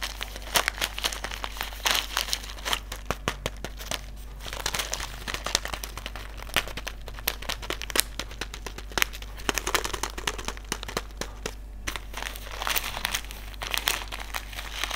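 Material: Paper.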